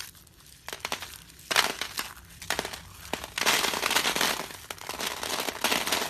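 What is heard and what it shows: Bare hands scoop up a pile of small, brittle, light orange crushed dry soap flakes, then squeeze and rub them between the fingers. The result is dry, bright crackling and crunching in uneven bursts, with a loud surge around the middle and a sustained, denser crunch through the end.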